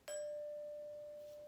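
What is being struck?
Metal glockenspiel bar.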